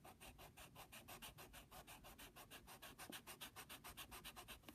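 The rubber eraser on the end of a wooden pencil, held by fingertips, rubs back and forth over the printed logo area of a flat brown Jiffy padded paper mailing envelope. It makes 31 quick, rhythmic scratchy strokes with a bright papery hiss and a soft low rumble underneath, about three strokes each second.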